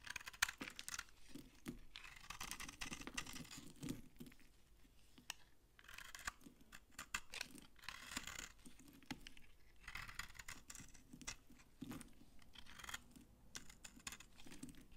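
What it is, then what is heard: Dry soap bar shaved with a blade. A utility-knife blade shaves dry flakes off an old, solid beige soap bar with an embossed logo, held in the hand. The result is a series of quiet, crunchy, bright scraping strokes with short pauses between them and no ring after each stroke.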